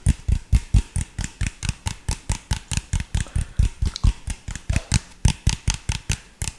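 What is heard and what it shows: Fingertips tap and scratch the body of an empty, hollow, clear PET drink bottle with an orange label. Around 30 quick, dull, low thumps with short bright clicky tops follow one another in a fast, uneven rhythm, each dying away almost at once.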